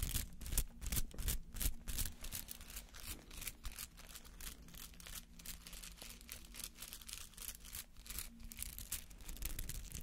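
A palm-sized rubber artificial flower with many bristly petals is held in both hands while fingertips and nails scratch through the petals. The result is a quiet, dense run of dry, bristly scratching and crinkling bursts with a bright, hissy edge. Beneath the scratching sits a steady low hum.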